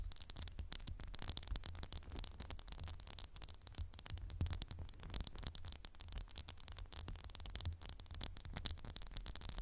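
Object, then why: Glass candle jar. Fingernails tap on a candle in a textured glass jar in a quick, continuous stream of light, bright clicks and scratchy taps. The sound stays quiet and even throughout, over a steady low rumble.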